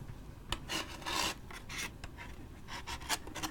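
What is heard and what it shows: A large waxed paper drink cup with a lid and straw, held in hand, is scratched close up with a thin stick or toothpick and a fingernail. Bright, raspy scratching strokes come in short bursts over a low rumble, with a longer rubbing stretch near the middle and sharper scrapes toward the end.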